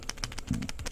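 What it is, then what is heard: Hollow chocolate skull with loose pieces inside. A hollow Belgian chocolate skull, still unopened, is shaken right in front of the microphone, and the loose pieces inside rattle around in it. A rapid series of short clicks and taps follows, with a brief low thump near the middle.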